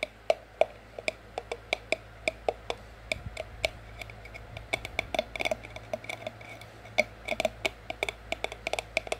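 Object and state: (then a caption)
Cardboard sleeve over ceramic mug. Long acrylic nails tap on a white printed cardboard sleeve with an orange price sticker, wrapped around an empty, hollow white ceramic mug, tapping over the mug wall. The taps are short, dry clicks with a hollow tone near 640 Hz and bright upper clicks, steady at first, then quicker and more clustered. Each tap dies away almost at once over a quiet low hum.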